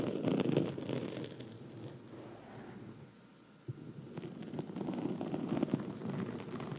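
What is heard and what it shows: Long red nails of both hands scratch a black foam microphone windscreen, making a dense, crackly rustle with a muffled, low-mid body. The scratching fades to a soft hush around three seconds, then a sharp tap brings it back louder and busier to the end.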